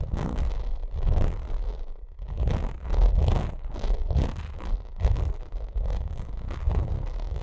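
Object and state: Textured vinyl makeup bag.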